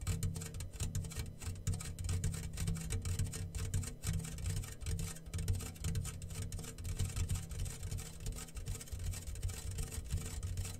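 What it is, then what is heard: Homemade rain drum made from a metal tin. A homemade rain drum, a medium round yellow-painted hollow metal tin with a clear plastic film stretched over its open top and small loose grains inside, is held in both hands and slowly tilted and rocked. The grains roll and patter across the film in a continuous rain-like rush, with a dense low rumble underneath and a fine bright crackle on top. The wash swells and eases with each tilt throughout.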